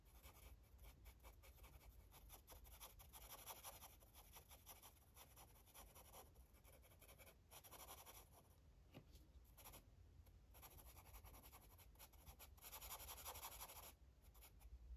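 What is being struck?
Felt-tip marker on a paper coloring book page.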